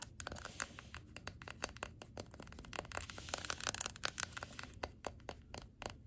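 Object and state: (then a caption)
Glass jar candle. Long glittery nails rapidly tap and scratch the white wax surface and glass rim of a large glass jar candle full of wax, tilted on a wooden table, then tap its labelled glass bottom. Sharp, dry clicks and bright, scratchy crackles come in quick succession and stop almost instantly, with a faint high tone over a soft low rumble.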